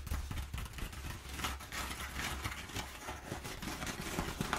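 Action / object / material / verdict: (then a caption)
scrape / crumpled kraft paper / paper / none. Long nails scratch and pick at crumpled kraft packing paper that has rows of perforations. The result is a steady, dense crackle of dry rustling and papery scraping, with brief sharp clicks and bright hiss over a low, soft rumble.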